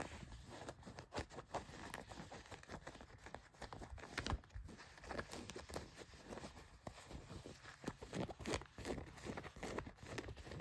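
Long nails scratch along the pocket seams of blue denim jeans, making quick, irregular dry rasping strokes against the coarse fabric. The sound is soft and close, with brief scratchy bursts coming in uneven bunches.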